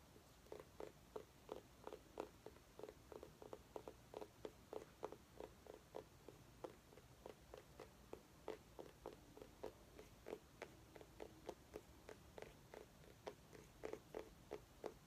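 A small orange mini pumpkin, held by its base, is tapped and scratched with long painted nails. A steady run of short, quiet, hollow knocks centers around 420 Hz, with faint scratching between them, and each tap dies away almost at once.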